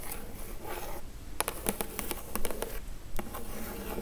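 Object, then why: Printed cardboard gift box. Long acrylic nails scratch across the printed lid of a hollow Glowria printed cardboard gift box resting on a table, making a soft, continuous scraping hiss. Partway through, about ten quick, sharp taps click against the lid at an uneven pace before the scratching resumes.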